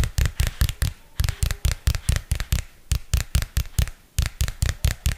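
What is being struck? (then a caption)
Spiral-bound paper notebook with card cover. Long fingernails tap and scratch the textured glossy card cover of a small purple spiral-bound paper notebook held flat in front of the mic. About 22 quick, irregular taps each give a deep, dull thump with a bright crisp click, dying away almost instantly. Faint scratchy rustling fills the short gaps between them.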